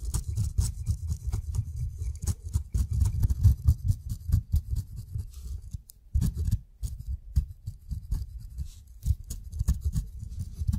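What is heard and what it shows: A steel razor blade shaves the dense brown fuzz from the skin of a whole kiwi fruit in quick, uneven strokes. Each stroke gives a soft, dull scrape with a faint bright, crisp edge, and the passes keep coming with only a brief pause about halfway through.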